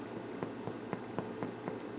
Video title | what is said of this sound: Beginning Cooks Challah | knocking on the top even, I can hear the hollowness